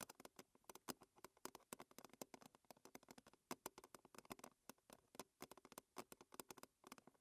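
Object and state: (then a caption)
Metal tin lid tapped with fingernails. A round silver-blue metal tea tin lid, hollow and thin, is held upright and tapped with the long red fingernails of both hands. About 45 quick, irregular clicks sound in a rapid patter, each bright and dry with a faint low ring around 250 Hz that dies almost instantly.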